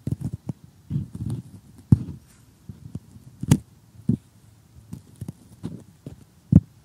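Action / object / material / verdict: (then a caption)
tap / cardboard jigsaw puzzle pieces / cardboard / none. Assembled cardboard jigsaw puzzle pieces are poked and picked at with metal tweezers, with nails nearby. Soft, dull, low taps and brief crunchy scrapes come in irregular bursts, each dying away almost instantly with no ring, and a few land noticeably harder than the rest.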